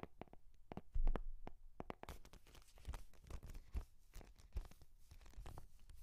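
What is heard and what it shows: A hand holds a brown embossed leather journal with a strap while nails and fingertips tap and scratch its cover. The result is a quiet stream of short, dull taps mixed with soft scratchy rustling, with a heavier thump near the start.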